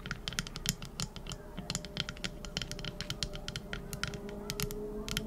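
Long acrylic nails tap and scratch the flat back of a small, hand-sized teal epoxy resin trinket dish shaped like a scallop shell, a solid cast piece. Rapid, irregular bright clicks with very short ring ride over a steady low rumble and soft scratching.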